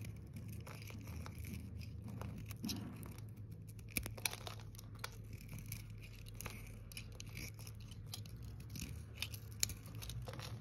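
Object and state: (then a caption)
Dry bar soap being cut. A metal blade scrapes and cuts thin slices from the edges of a solid green bar of dry soap held in the fingers, scattering shavings. Quiet, crisp scratchy crunches and soft tearing sounds repeat throughout, with a few sharper snaps, over a steady low hum.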